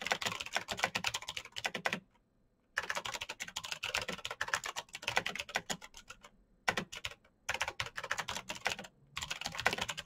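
Rapid fingertip typing on a black plastic mechanical keyboard with backlit keys produces dense bursts of bright, crisp clicks. Short pauses break the typing around 2 to 3 seconds, 6.5 to 7.5 seconds, and near 9 seconds.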